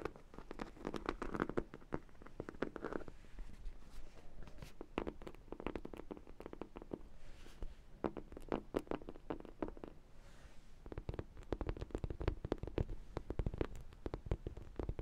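A large, hollow vinyl sprinkle-donut dog toy is held in both hands and tapped and scratched with long nails. Rapid, dull hollow taps and scratchy clicks come in dense bursts with brief quieter gaps, sounding low and thuddy with little brightness and almost no ring after each tap.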